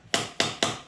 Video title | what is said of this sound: Salvage yard Transmission for the 1989 Grand Wagoneer | you can hear it sounds solid so that is all the way in